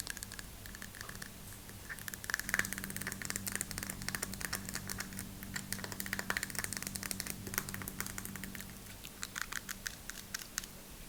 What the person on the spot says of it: I like the sound of the plastic on the deodorant cases or bottles